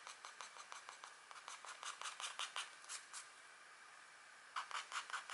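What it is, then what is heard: Scratch art paper being scratched with a stylus. The tip of a green stylus scratches across a thin scratch art sheet, a black coating over a metallic layer, held in a long-nailed hand. Quick, dry, bright scratching strokes repeat in a loose rhythm, pause for about a second, then resume in a louder cluster.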